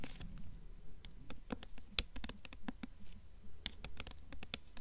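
Long nails tap rapidly on the paper dust jacket of a blue hardcover book held upright in both hands. The taps are quick, dry and crisp, with bright clicky edges and almost no ring. They fall in an uneven, pattering rhythm over a soft low rumble.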